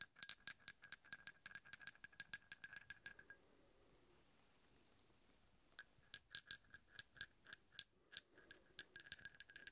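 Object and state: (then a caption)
Steel hex bolt. A large solid steel hex bolt, held in one hand, is tapped and scraped with the tip of a steel drill bit, giving rapid, bright metallic clinks with short, high ringing tones. A quiet stretch of faint scraping in the middle separates the two bursts of quick tapping.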